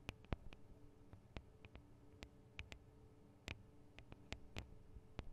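Long acrylic nails tap the small, hollow metal microphone capsules with metal guard wings on a Tascam DR-40 recorder. The result is a quiet, irregular series of sharp, very short clicks, each a low, hollow thump topped with a bright tick, over a faint steady hum.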